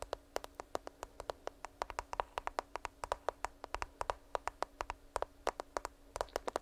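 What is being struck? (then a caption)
Smartphone with glass screen and case. Long nails tap and scratch a black smartphone with a glass screen and case, held near the mic. A quick run of 46 sharp, dry clicks rings briefly, with a faint steady low hum beneath.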